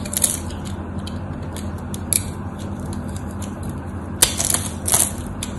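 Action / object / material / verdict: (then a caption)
scrape / bar of soap / soap / none. A craft knife cuts and scrapes across the crosshatch-scored face of a solid white soap bar held in hand, making small cubes crumble off. Short, crisp, bright crunching and scraping bursts come in irregular clusters over a steady low hum.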